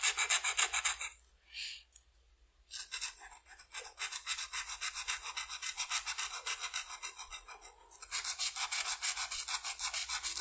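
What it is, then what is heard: Felt-tip marker coloring on paper. A blue felt-tip marker is rubbed back and forth across a flat white paper coloring sheet to color the wing spots of a butterfly. The result is a dry, bright, scratchy rasp in quick strokes, about three to four per second. There is a brief quiet pause near the start, softer strokes through the middle, and louder, steadier strokes toward the end.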